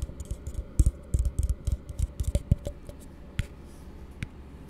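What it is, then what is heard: Plastic cup. An empty, hollow blue plastic tumbler held upside down is tapped with the fingertips. The taps come as quick, uneven, dull low thuds with a hollow knock, dense for the first three seconds and then sparser. A couple of later taps add a sharper, brighter click.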